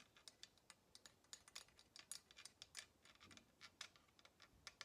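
Long nails tap rapidly on the wooden handle of closed kitchen tongs with black plastic arms. The result is a quiet, fast run of dry, bright clicks with almost no low end. Each tick dies away almost instantly.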